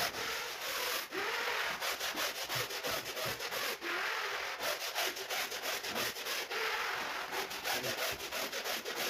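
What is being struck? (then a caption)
Woven rug scrubbed with a bristle brush. A push brush scrubs a large, wet, soapy woven rug lying on a marble floor, its bristles stroking across the pile. A continuous, bright, scratchy swishing is heard, pulsing in quick, somewhat uneven strokes of roughly three per second, with almost no low end.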